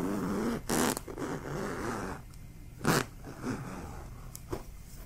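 A stuffed, soft yellow plush fabric pillow is held up, repositioned, and scratched and rubbed across its fabric surface with fingertips and nails. Short, bright scratchy bursts stand out over a steady, soft, low fabric rustle, with quieter rubbing between them.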